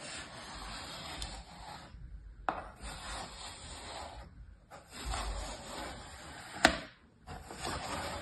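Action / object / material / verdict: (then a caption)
scrape / kinetic sand in a plastic tray / sand / none. A flat, stamped layer of kinetic sand filling a mint plastic tray is cut and scraped in lines with a small orange plastic tool and pressed with fingertips. It makes a soft, gritty rasping scrape broken by a few brief silences, with three sharp little ticks standing out above the steady rubbing.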